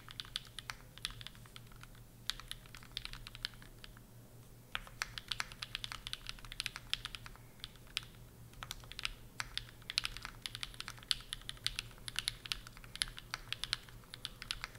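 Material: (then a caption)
Aluminum, plastic. Both hands type steadily at a moderate pace with their fingertips on a Bear65 v2 65% mechanical keyboard. It has a hollow case, an aluminum plate, linear switches, and dark and pink plastic keycaps, and it sits on a pink desk mat. The keystrokes come as a dense run of short, bright, crisp clicks with almost no ring, punctuated by a few brief pauses, over a faint low hum.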